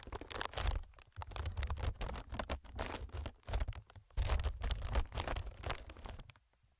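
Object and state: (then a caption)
Plastic air packing pillow. Fingertips tap and scratch across a clear, inflated plastic-film air packing pillow. The result is dense crinkly scratching with soft, low, muffled thumps, coming in bursts with brief pauses before fading out at the end.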